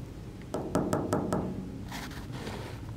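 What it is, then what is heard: Solid hydrostone cast. A freshly cast hydrostone ant farm nest is tapped five times in quick succession, giving sharp, knocking clicks with a short ring. The taps sound pretty solid, matching a block that feels heavy and high quality.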